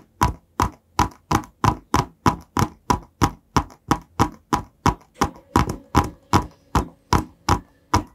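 A long, narrow, hollow white printed cardboard box is held horizontally in both hands just above the microphone while fingertips tap and scratch its surface. There are 25 dull, hollow taps at a steady pace, each with a papery scratch and a quick, dry decay.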